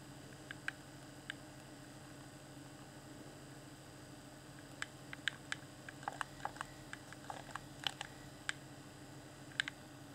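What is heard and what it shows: A fingertip taps and clicks the D-pad and buttons of a hand-sized, hollow, clear plastic Xbox One Afterglow game controller, lit with a blue LED. A few sparse early clicks give way to a busier run of sharp, bright plastic ticks that stop almost instantly. A steady low hum runs underneath throughout.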